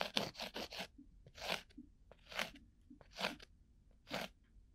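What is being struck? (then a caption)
Cork coaster. A thin bamboo ear pick scratches a round, flat, solid cork coaster-sized disc held right at the microphone. A quick run of short, dry, crunchy scrapes is followed by longer, evenly spaced strokes, each a bright, hissy burst that stops cleanly with almost no ring.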